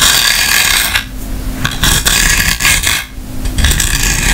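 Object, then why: Hard plastic clamshell case with small tools. Long nails tap and scratch the shell of an open, hollow white hard plastic clamshell grooming kit case holding small tools. The result is a steady run of dry, bright tapping and scraping with hollow knocks underneath, briefly easing about a third of the way in and again near the end.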